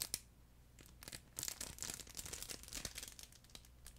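A flat, soft yellow furry plush chicken pet toy, made of fabric with a crinkle film layer inside, is held close to a microphone and squeezed and rubbed with the fingertips. It gives a run of bright, dry crinkling and crackling rustles with soft fabric patter and no ringing tail.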